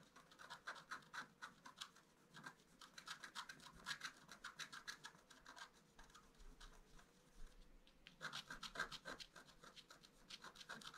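A wooden stylus scratches near the bottom of a flat black-coated scratch-art paper sheet, making quick, irregular dry scratching strokes with a bright, raspy texture. The strokes come in dense bursts, thin out into lighter scratching for a couple of seconds, then return with renewed intensity.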